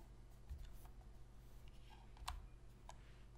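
Long pink fingernails tap the shell of a hollow black plastic Sony PS3 controller, and the controller is then lifted to show its front edge. A few soft, short, bright clicks sit over a steady low hum, with the sharpest tap coming near the end before the sound fades.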